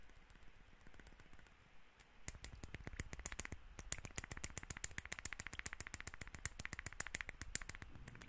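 A small amber glass essential oil bottle with a teal cap is held up and tapped with fingertips and nails. After about two seconds of faint background hiss, a fast, uneven run of sharp, bright clicks and taps begins and continues to the end. Each tap stops instantly with no ring.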